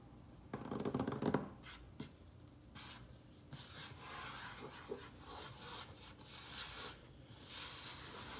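Fingertips and short nails scratch and tap quickly across a large, solid, worn wooden tabletop scattered with soil crumbs. Dry, rapid scratching and rubbing runs throughout, with a louder, fuller burst near the start and small tap clicks mixed in.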